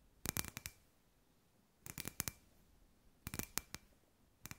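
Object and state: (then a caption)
Glass ball lamp tapped with fingernails. Long white nails tap a hand-sized hollow clear glass sphere lamp with fairy lights inside, producing quick, bright, clicky taps. The taps come in four short bursts separated by quiet pauses. Each tap is sharp and dies away almost instantly, with a faint glassy ring.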